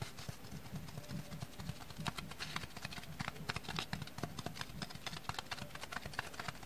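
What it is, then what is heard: Dry sponge being tapped. Dry sponges are tapped in a quick, steady series of short, dry clicks and light thuds. Each tap dies away almost at once, with a soft low body under bright, crisp ticks. The gentle, close tapping sits over a faint background hiss.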